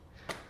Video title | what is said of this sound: 24h dans ma nouvelle vie à Dubaï | Je trouve ça incroyable. Ah, c'est du plastique. C'est fake.